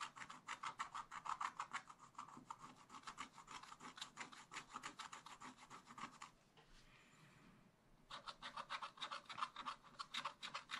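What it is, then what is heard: Scratch-art paper being scratched. A wooden stylus scratches stripes on a raccoon's tail drawn on black wax-coated scratch-art paper in a spiral-bound pad, producing fast, quiet, rhythmic scraping strokes with a bright, raspy edge centered around 1 kHz. The strokes stop for about a second and a half of soft rustling, then resume at the same quick pace.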